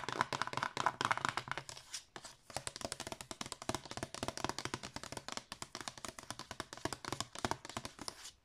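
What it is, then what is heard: Card disc sleeve scratched with nails. Long nails rub and scratch across a cream card disc sleeve with an embossed pattern, held open. A rapid, steady stream of short, dry scratching taps and rasps, bright and papery with little low end, continues with a brief pause near the two-second mark.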